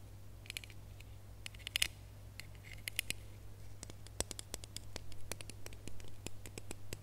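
Fingernails scratch and tap the ribbed surface of a small, hollow, red ribbed plastic Christmas bauble with a gold cap, held in the fingers. Quiet, dry, bright clicks and brief raspy scratches come in an uneven stream over a steady low hum, and each tick stops instantly with no ring.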